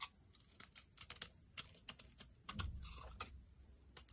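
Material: Soap.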